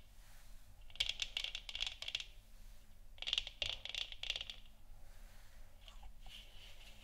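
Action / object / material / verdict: tap / plastic moon lamp sphere / plastic / none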